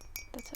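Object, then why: Mug, likely ceramic. Press-on fake nails tap on a Starbucks "Been There" Seattle souvenir mug bought on a trip. The taps give quick, bright clinks with a chime-like ring near 2.3 kHz that fades almost at once.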